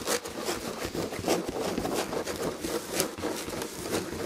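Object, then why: Textured fabric upholstery on a chair back. Long red fingernails scratch the textured red and gold fabric upholstery on a chair back. The result is a steady, dense scratching with quick, uneven strokes, carrying a papery mid-range rasp and bright hiss.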